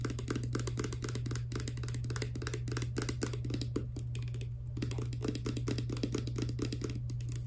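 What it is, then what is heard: Plastic pump bottle. Long nails tap quickly on a small, hollow, clear plastic hair serum pump bottle with a green pump, tilted and holding clear liquid. The result is a rapid, continuous stream of short, crisp plastic clicks with a bright top, over a steady low hum.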